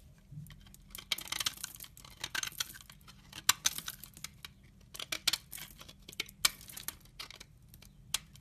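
A utility knife blade scrapes the corner and edge of a solid brown laundry soap bar held in the hand. It makes a quiet run of crisp, bright scraping and crackling bursts with no low end, each cut-off short and dry with no ring.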